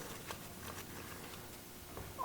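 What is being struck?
Nothing is struck.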